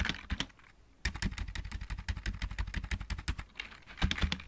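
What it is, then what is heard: Plastic mechanical keyboard. Fingertips of both hands type on a full-size backlit mechanical keyboard with plastic keycaps, producing rapid, closely spaced clacks with a deep thocky body and bright click edges. After a brief opening flurry there is a short pause near the one-second mark, then steady typing to the end, with faint possible music in the background.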